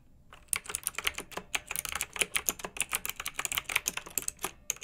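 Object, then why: Plastic mechanical keyboard with round keycaps. Both hands with long nails type rapidly on a pink plastic retro mechanical keyboard with round, backlit keycaps. After a short quiet start, about 25 sharp, bright clicks come in quick succession, each dying away almost instantly with very little low end, and there is a brief pause just before the end.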